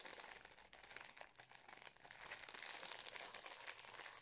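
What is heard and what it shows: Fingertips squeeze and crinkle a Napolitain cake in its metallised foil-plastic wrapper close to the camera. The result is a steady stream of soft, dense, bright crackles and crinkles, mostly high in pitch with almost no low end, swelling slightly in the second half.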